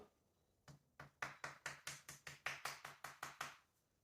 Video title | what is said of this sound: One year in Sicily! | That's not a knock at the front door. It's hollow plaster.